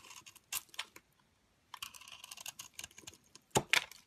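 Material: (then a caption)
Soap. A metal blade scrapes crumbly shavings and powder off the glitter edge of a cream solid soap bar held in a hand with dark long nails. Soft, bright, crackly scraping bursts come in quick clusters, pause briefly, then resume, with the loudest crisp strokes near the end.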